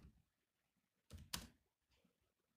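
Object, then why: Laptop keyboard, plastic keys. Fingertips tap the black plastic keys of a grey laptop keyboard, giving two close, bright clicks with a quick decay. A few softer taps sound before and after them.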